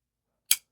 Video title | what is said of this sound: IT'S So Difficult To Put This One Down : URBAN EDC CHIMARRA | it sounds solid. It sounds, like, doesn't sound weak, doesn't sound like vibraty. It sounds really strong and very, very solid.